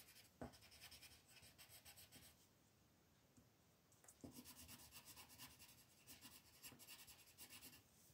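A pink colored pencil rubs and scratches across a flat white paper mandala sheet on a table, shading petals while the other hand holds the sheet steady. Quiet, bright, rasping strokes come in bursts, with a lull in the middle and a couple of sharper taps, before the scratchy shading resumes.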